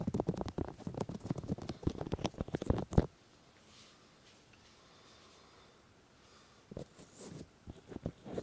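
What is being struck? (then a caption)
Silicone microphone ears. Fingertips rub and tap the silicone ears of a 3Dio binaural microphone, mostly on one side, making dense, muffled, low thumps and scuffs for about three seconds. A near-silent pause follows, then a few scattered soft taps and rubs return toward the end.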